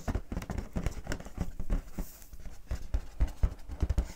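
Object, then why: Inflated latex balloon. Long painted fingernails scratch and rub the surface of a large, inflated, clear latex balloon held in both hands. Quick, dull, low-pitched taps and scrapes patter irregularly, each dying away almost instantly, with the hollow, air-filled balloon giving a soft thumping resonance.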